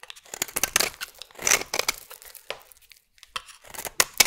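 A metal blade shaves thin curls from the side of a solid oval purple bar of soap, scraping along it. Short, dry, crisp strokes come in bursts, bright and hissy with almost no low end, separated by brief pauses.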